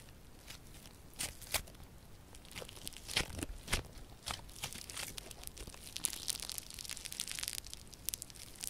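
Yellow crunchy foam-bead slime is pulled apart and squeezed by both hands with purple nails. Irregular bright crackles and crunchy pops sound over a soft, steady hiss, growing denser and busier toward the end.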